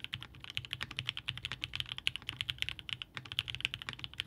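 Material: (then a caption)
Aluminum, plastic. Steady fingertip typing on a Haus 65% mechanical keyboard by Hand Engineering, with a blue-grey aluminum case, polycarbonate plate, linear Ink switches and GMK DMG ABS keycaps, resting on a desk mat. Both hands bottom out the keys in a quick run of about 34 sharp, clacky keystrokes. Each one is a dry, bright click centered near 3 kHz, with a soft low thock beneath and almost no ring.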